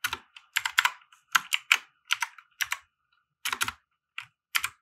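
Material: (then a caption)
Plastic. Fingertips of both hands type on a compact 60% mechanical keyboard with white plastic keycaps and RGB lighting, resting on a felt desk mat. About seventeen bright, crisp plastic clacks come in uneven bursts separated by short pauses. Each keystroke dies away almost instantly, with no low thump underneath.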